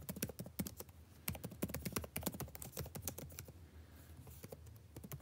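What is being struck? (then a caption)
Plastic laptop keyboard keys. Fingertips type continuously on a backlit laptop keyboard with plastic keys, producing a rapid stream of short, crisp clicks and taps. The taps decay almost instantly over a quiet, steady low hum, with a brief lull in the typing near the end.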